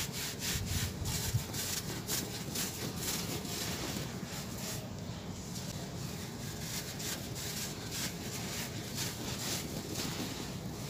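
Bare hands crumble and rub dry gray sand-cement clumps, letting the loose, granular grit pour into a pile inside a large red plastic tub. A steady, gritty crunching and rustling runs throughout, with irregular bright, scratchy bursts over a low, rough rumble.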